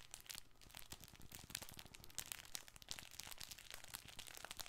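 A hand-sized, colorful soft fabric baby ball is held close to the microphone while fingertips and nails scratch and squeeze its surface. Dense, bright crinkling and crunching scratches crackle continuously over a faint low hum, each sharp and dry with no ring.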